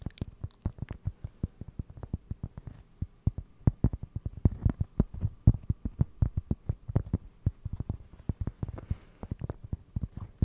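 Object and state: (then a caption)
Cork trivet. A round, flat, solid cork trivet is held beside the microphone and tapped and scratched with fingertips and short nails. It makes a rapid, uneven stream of soft, dull, low thuds that stop almost instantly, with faint scratchy brushing between taps. The sound is muffled and close, with almost no bright edge.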